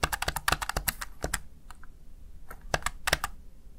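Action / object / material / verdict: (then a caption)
tap / plastic gaming keypad keys / plastic / none. Fingertips and long nails type taps on a small, hollow, backlit plastic Razer Tartarus Chroma gaming keypad. About fifteen short, dry, bright clicks come in a quick burst, then a quieter pause and a few more taps. Each click dies away almost instantly with no ring.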